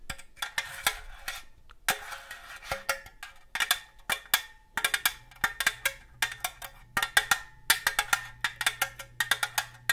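Long gold metal claw nail covers tap a hollow red and green cylindrical metal cookie tin in quick, irregular bursts. Each tap is a sharp, bright metallic click with a short, tinny ring centered around 1.6 kHz, with soft pauses between clusters.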